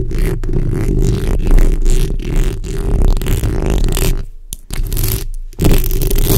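The backs of long red nails scratch both sides of a black microphone's hollow metal mesh grille. The result is a continuous, heavy, low rumbling scrape with faint gritty texture above it. The sound briefly drops out twice near the end before resuming at full strength.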